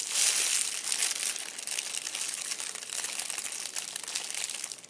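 Fingertips squeeze and crumple a fist-sized, hollow, loosely crumpled purple metallic foil crinkle ball, cat-toy style, resting on a fabric chair seat. A dense, steady stream of bright, crackling crinkles with almost no low end is loudest at the start and fades out at the end.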